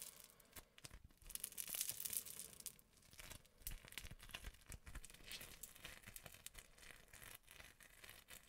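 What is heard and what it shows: A lump of green and yellow crunchy foam-bead slime is kneaded and squeezed close-up with the fingers of both hands. Dense, bright crackling and popping runs throughout, with sharp crunchy snaps and soft squishes rising and falling in a quiet, continuous stream.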